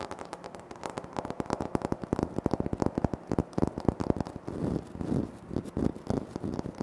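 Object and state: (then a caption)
Granite floor tile. Fingertips tap rapidly and nails scratch across a flat, solid, speckled granite floor tile. Dense, short, dull taps with almost no ring run throughout, broken by softer rasping scratch passages toward the end.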